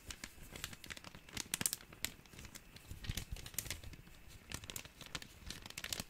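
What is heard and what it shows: A small, empty, thin clear plastic bag is crinkled and rubbed between the fingers. The result is a steady stream of quiet, close, bright crackles and rustles with short, sharper bursts, each dying away almost instantly.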